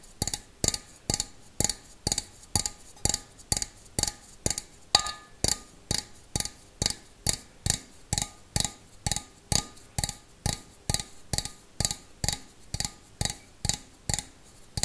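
An empty stainless steel bowl, held sideways, is tapped with fingernails in a steady rhythm of about 33 sharp, bright taps. Each tap is a quick click with a faint, short metallic ring.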